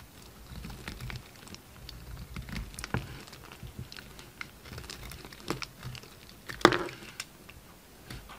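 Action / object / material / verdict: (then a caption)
scrape / bar soap cut with a knife blade / soap / none. A red utility knife shaves flakes off a solid yellow-orange bar of soap held in the hand. Quiet, dry scraping and cutting strokes with soft crinkly flakes and short bright ticks repeat throughout, with one sharper, louder cut about two-thirds of the way through.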